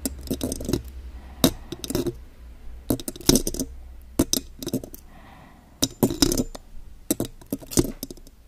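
Long gold claw nail extensions on both hands tap the silver metal mesh grille of a condenser microphone. Quick, irregular bursts of sharp, bright metallic clicks and light clinks ring briefly, with short pauses between flurries. A low steady hum sits under the first half.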